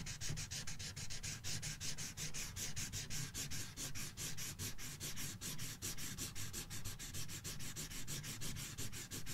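A red felt-tip marker scribbles in continuous strokes across the thin paper page of an open coloring book resting on a box. Rapid, steady back-and-forth rubbing makes a bright, scratchy hiss that pulses with each stroke over a soft low rumble.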